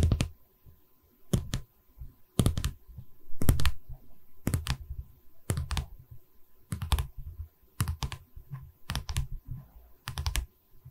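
Long red-painted nails tap and drum on the top edge of a light pine canvas stretcher frame held upright. The result is quick clusters of short, dull, low wooden clicks and thuds that die away almost at once, separated by brief quiet gaps.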